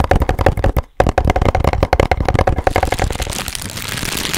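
Fingertips and nails rapidly tap a small, hollow, printed rectangular cardboard smartwatch box held in both hands over the microphone, making dense, dry, hollow thumps with a brief pause just before the first second. After about two and a half seconds, the tapping turns into steady scratching across the box's surface, a continuous bright, papery rasp.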